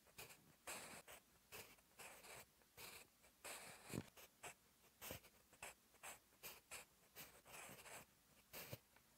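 A sharpened wooden graphite pencil held in the fingertips scratches across a lined paper sheet in a notebook while writing Korean text. The result is a series of short, bright, dry scratching strokes separated by brief pauses.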